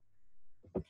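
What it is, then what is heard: Aluminium object. A softer rustle comes first, then one loud, low knock that dies away almost at once, with only a faint metallic edge on top. The clang of the thin aluminium is cut short, as if the piece is held or resting on something. A faint room hum sits underneath.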